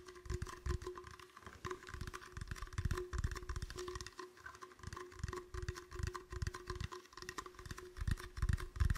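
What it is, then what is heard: Empty plastic bottle. A medium, empty, clear, hollow plastic bottle is held in the hands and tapped and squeezed with fingertips, giving a steady stream of dull, low, hollow thumps and soft crackles at an uneven pace. Faint steady tones sit underneath throughout.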